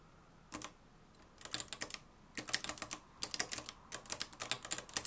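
Fingertips type continuously on the dark plastic keys of a mustard-yellow, plastic-cased manual typewriter with a metal mechanism. About 25 short, bright key clacks come in quick, uneven bursts with brief pauses between them, and each clack dies away almost instantly against a quiet background.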